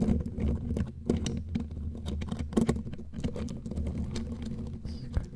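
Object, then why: Metal mesh microphone grille. Long glittery claw nails scratch and tap the bare black metal mesh grille of a studio microphone, close up. A dense, low-heavy scraping rumble runs throughout, broken by short, sharp taps that die away almost at once.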